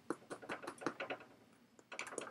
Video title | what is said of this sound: today i offer you: focaccia | if you tap on it it should sound hollow - and that's how you know you're doing it right